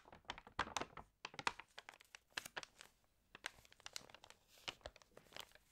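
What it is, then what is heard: Glossy paper magazine pages crinkled. Hands rub and turn the pages of an open, water-damaged glossy-paper magazine, producing dense, bright crinkles and crackles with sharp, quickly decaying peaks and almost no low end. The crinkling comes in irregular bursts, with brief quiet gaps near 1.2 and 3 seconds before softer rustling resumes.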